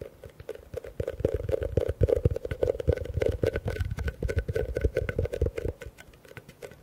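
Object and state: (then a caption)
Plastic bucket tapped and scratched. A medium, hollow, empty blue plastic bucket is held upside down near the mics and tapped and scratched quickly with fingertips and nails. The result is a rapid, continuous patter of dull, hollow thumps with a boomy low end and a resonant mid-range tone, mixed with a soft scratching texture. The tapping eases off and grows quieter toward the end.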